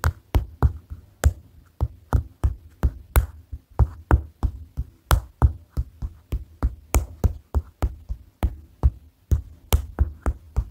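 Fingers tap on a paper notepad, making 27 short, separate taps in an uneven rhythm over about eleven seconds. Each tap is a dull, low thud with a quick bright click on top, and it dies away almost at once.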